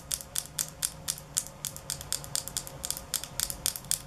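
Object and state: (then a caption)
Glass nail polish bottle tapped with nails. A small glass nail polish bottle with a black cap, held in the hands, is tapped quickly with long nails. It makes a fast, slightly uneven run of sharp, bright clicks that die away almost at once, over a soft low hum.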